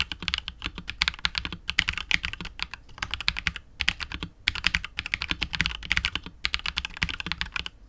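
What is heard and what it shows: A KBD67 Lite R2 65% mechanical keyboard with KTT Wine Red switches, PBT keycaps and a hollow clear polycarbonate case is typed on continuously with the fingertips of both hands. It makes a rapid stream of short, bright clacks with almost no ring and a faint low thock underneath, broken by brief pauses near 3.8 and 6.4 seconds.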